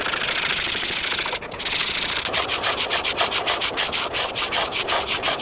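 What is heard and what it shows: A hand with painted nails rubs a felt-tip marker across a thin paper coloring book page, filling in a drawing of a dessert cup. Bright, dry marker-on-paper scratching runs steadily, pauses briefly, resumes, and then turns into quick, evenly spaced back-and-forth strokes.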